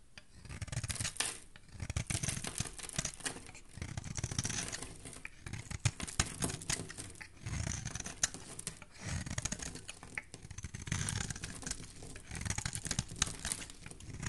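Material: Soap.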